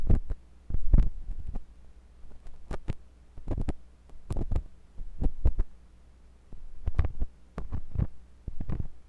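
A thin, pointed metal sculpting tool with a wooden handle, held by fingers with long pink nails, scratches and pokes inside the ear canal of a white silicone ear on a block-shaped binaural microphone. The result is a string of close, muffled thumps and throbbing bursts with sharp, bright clicking edges. They sit over a low, steady hum near 62 Hz, with nearly all the energy below 200 Hz.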